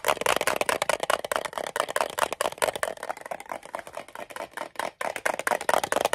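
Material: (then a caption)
Thin metal. A small rectangular green-and-white metal Altoids mint tin, hollow and closed, is held in both hands and tapped and clicked with fingernails on its sides and edges. Fast, irregular bursts of sharp, bright clicks and ticks with a thin metallic tone centred near 950 Hz, each dying away almost instantly with no low end.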